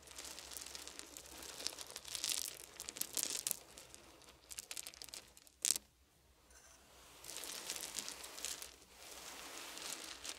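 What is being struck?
Pile of small wooden beads.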